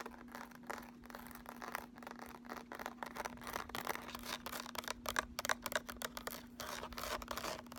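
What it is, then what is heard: Cardboard makeup palette. A small, flat, closed cardboard eyeshadow palette in the Urban Decay Naked style, with a raised sunburst pattern and lettering, is held in both hands and scratched across its embossed front with fingertips and short nails. Dry, papery scratching comes in quick, uneven bursts centred in the mids around 1.1 kHz, with some bright hiss. A steady low hum sits underneath throughout.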